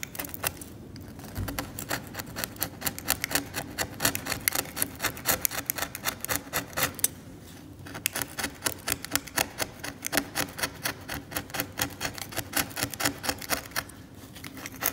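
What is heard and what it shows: A metal scalpel blade repeatedly scrapes cracked varnish off the flat, solid surface of an old oil painting in short strokes, leaving flakes piling up. Dozens of quick, dry, bright scratches follow one another in an uneven rhythm, with brief quiet pauses around 1, 7 and 14 seconds.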